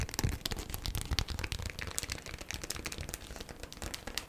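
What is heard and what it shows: A folded, stiff, thin green printed beeswax-coated cotton food wrap is tapped and scratched quickly with long black acrylic nails. Dense, fast crinkly taps combine a soft low thump with bright, crisp clicks and scratchy rustling. Each tap dies away almost instantly.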